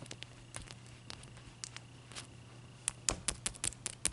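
Long dark-painted nails and fingertips tap a large, clear, solid block of ice resting on a white towel, then a knuckle knocks on it. Faint, scattered ticks give way to sharper, bright clicks toward the end, each dying out almost instantly over a steady low hum.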